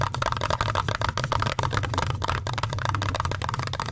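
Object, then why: Metal mesh microphone grille. Fingertips and nails scratch and tap the black metal mesh grille of a large red Blue Yeti-style USB microphone. The result is a dense run of crackly scraping and quick taps with a bright, gritty edge over a steady low hum around 105 Hz. The loudness stays fairly even throughout with only small dips.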